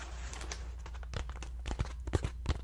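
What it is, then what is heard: Paper lantern tapped and scratched. A round, ribbed, hollow paper lantern with an opening at one end is held in both hands and scratched and tapped with fingertips. Soft papery scratching gives way to short, dry taps that die away almost instantly. A steady low hum runs quietly underneath.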